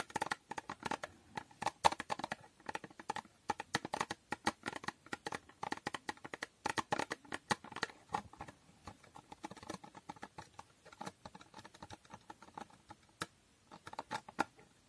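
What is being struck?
Small cardboard box with foil finish.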